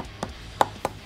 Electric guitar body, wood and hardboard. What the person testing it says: it's definitely hollow body I can hear that